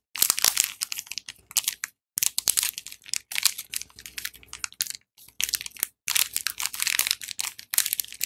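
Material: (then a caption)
Cardboard. A small printed cardboard box holding a bar of Dettol soap, closed and full, is held in both hands and turned while fingertips and dark-painted nails tap and scratch it. Dense, bright, crackling scratches and crunchy taps come in quick clustered bursts separated by brief silent gaps, with almost no low end.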